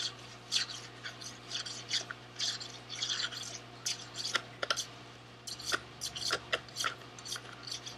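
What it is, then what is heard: Cardboard candy box. A small SweetTarts cardboard candy box, held in both hands, is rubbed and scratched with fingernails. Bright, dry, papery rasps come in quick irregular bursts with sharper flicks between them. A faint steady low hum sits underneath.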